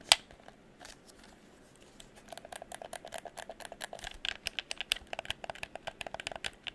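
A hollow red plastic handheld gamepad is held in both hands while fingertips and nails tap its shell and click its buttons. One sharp, loud click opens the clip, followed by a quiet pause, then a quick run of small, dry, bright ticks and taps that grows denser and slightly louder. Each tick stops almost instantly.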